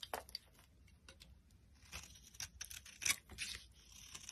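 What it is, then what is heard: Dry bar soap being carved. A metal utility knife blade carves a solid, dry cream bar soap, with flakes piling up on the surface. A series of crisp, bright scraping and crackling strokes rises from a quiet start, with a few sharper bursts toward the end.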